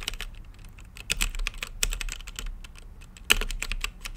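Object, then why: Mechanical keyboard with plastic keycaps and acrylic case. Fingertips type steadily on a mechanical keyboard with plastic keycaps and a clear, translucent acrylic case. Repeated key presses make sharp, bright clacks over a soft low thud, each dying away almost instantly, with a few louder strikes standing out from the rhythm.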